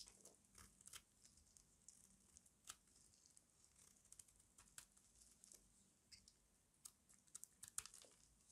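A small metal blade shaves crunchy flakes off a solid rectangular bar of dry white soap held in the hand. Quiet, bright, crisp scrapes and crackling crunches come in quick irregular bursts, each dying away almost instantly.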